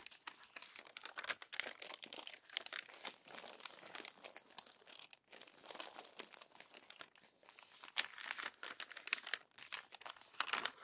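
Crinkled glossy paper magazine pages are turned and smoothed by hand. A dense, steady stream of bright, papery crinkles and sharp crackles fills the clip, with louder rustling bursts from the page turns and almost no low end.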